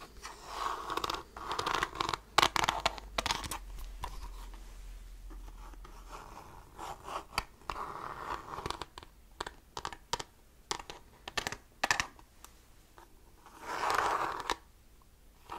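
Fingertips and nails scratch and tap the beige plastic back of a handheld calculator, a hollow casing held with small screws. Bursts of dry, bright scratching centered around 1.1 kHz alternate with many sharp, quick-decaying taps, giving a hollow plastic clicking texture.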